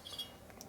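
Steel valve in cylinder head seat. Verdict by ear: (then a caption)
Well seated. A steel valve is dropped into a freshly cut multi-angle, multi-radius seat (three-angle valve job) in the cylinder head of a 2008 Harley-Davidson 110ci CVO Twin Cam FXD Dyna motor being rebuilt. It makes four quiet, solid metallic clinks with a bright ring around 3.3 kHz that fades within about 0.2 seconds. The seat seals well, with the valve confirmed light tight.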